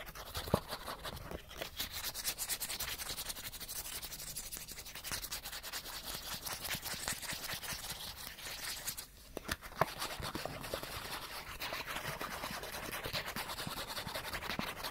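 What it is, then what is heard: Cardboard card being scratched. A small, flat cardboard character card is held close and rubbed and scratched fast with the fingernails. The result is a dense, continuous, bright scratchy rasp with rapid ticks, easing briefly around the nine-second mark before resuming.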